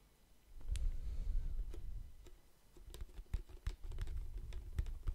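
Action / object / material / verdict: tap / clear plastic mouthwash bottle, partly filled with liquid / plastic / none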